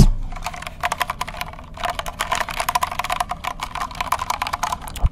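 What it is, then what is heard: Plastic mechanical keyboard. A compact white mechanical keyboard with a hollow plastic case is held up in both hands in front of a microphone while fingertips press and type on the keycaps. Quick, uneven runs of clacky keystrokes sound with a hollow, low thump beneath them, easing briefly at about 1.5 seconds before resuming. A firmer stroke lands near the end.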